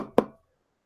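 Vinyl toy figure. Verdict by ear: Hollow.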